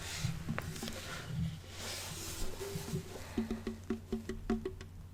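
A wooden ukulele body, the second of two, is tapped by hand, first with soft, muffled knocks and then a quick run of light, hollow taps. Each tap has a woody tone around 230 Hz that dies away almost at once, over a steady low hum.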